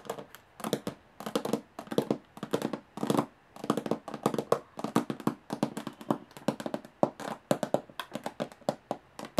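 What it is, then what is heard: Metal box, tapped. A metal box is tapped with the fingernails at fast and slow speeds. Short, sharp taps come in irregular bursts, some quick clusters and some spaced apart, each with a bright click and a brief mid-pitched ring that dies away almost at once.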